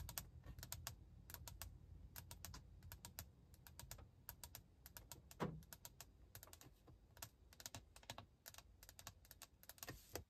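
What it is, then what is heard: Glass touchscreen tapped with nails. Long acrylic nails and fingertips tap and scratch across a large, flat glass infotainment touchscreen set as a solid panel in a car dashboard. A quick, irregular stream of sharp, bright clicking taps runs over a steady low rumble, with one louder tap near the middle.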